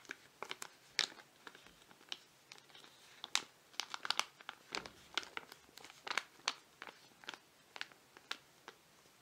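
Fingertips and nails tap and scratch a flat foil-laminate face mask sachet with a penguin design, held in both hands. The result is an irregular series of sharp, bright crinkles and clicks, mostly high in pitch, each stopping at once with no ring, over a quiet background.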